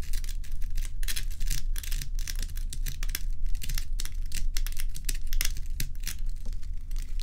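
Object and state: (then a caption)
Large ice block. Long acrylic nails and fingertips scratch and tap the frosty top of a large solid ice block, close up. Dense bright clicks and scrapes overlap continuously above a steady low hum.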